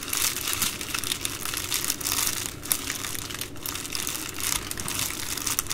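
Hands with long nails fold and pinch the plastic edge of an empty Amazon Prime poly bubble mailer. The result is a continuous, bright crinkling and crackling that swells and fades over several seconds, with no clear gaps between sounds and little low-end weight.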